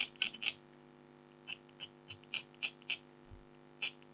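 A red-handled stylus scratches the tiger's face area on a flat, thin black-coated foil scratch art card while a hand with blue nails steadies the sheet. About ten short, bright, dry scratches come at uneven intervals, clustered at the start and then spaced out. A faint steady hum sits underneath.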